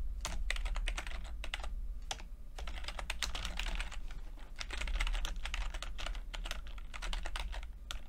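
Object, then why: Plastic computer keyboard. Fingertips of both hands type continuously on a full-size plastic computer keyboard with red and blue backlit, low-profile keycaps. Rapid, bright clicks and taps come in dense runs with brief lulls, over a steady low hum.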